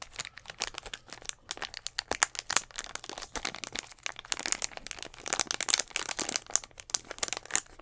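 A clear plastic Gatorade bottle, hollow with a little blue liquid inside, is held upright and squeezed and tapped with fingertips and nails. Dense, bright crinkling and crackling clicks come in quick bursts with no low thump, and each tap dies away almost at once.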